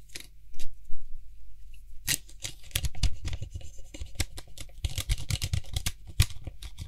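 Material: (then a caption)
Plastic. Fingertips and nails grip, twist and rapidly tap the white hollow plastic cap of a Lysol aerosol spray can. The result is a quick, dense run of sharp clicks and scratchy rubs with a low, hollow thump beneath them.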